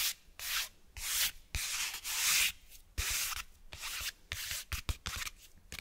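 Fingers rub and scratch the cloth cover and spine of a closed cloth-bound hardcover book, close to the mic. The sound is a series of bright, hissy scratching and rubbing bursts, some long and some short and quick, with a few soft low thumps between them.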